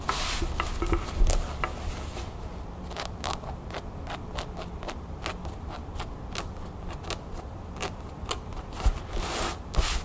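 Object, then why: Cotton canvas fabric pouch. A cream cotton canvas pouch with a blue crown print is rolled up, held down and scratched quickly with the nails of one hand. The result is a run of fast, dry, brushy scratches, each a short bright burst over a low, steady rumble.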